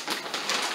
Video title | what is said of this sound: WWII USMC Poncho Restore | it's still dry. The folds don't want to come out. It sounds like cardboard.